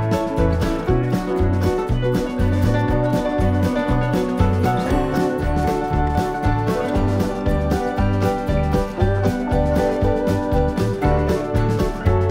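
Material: Nothing is struck.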